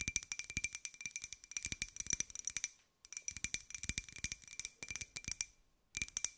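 Long nails tap rapidly on a small, hollow white ceramic cup-shaped jar with a pink and gold pineapple print, held in both hands. The clicks are bright and dry, with a faint high ring. They come in fast bursts separated by two brief pauses.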